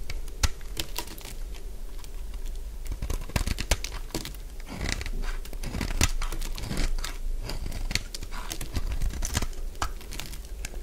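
A solid purple bar of dry soap is scraped with a utility blade into thin flakes. Fast, dry crunching and scratching strokes run throughout, with sharp clicks over a low rumble.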